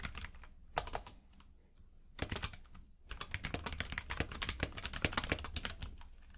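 A compact mechanical keyboard with plastic keycaps in a grey frame, lying on a purple rug, is typed on with the fingertips of both hands. Rapid, bright, clicky key taps come in short bursts separated by quiet pauses, then settle into a steady run of typing with a low, soft thud under each keystroke.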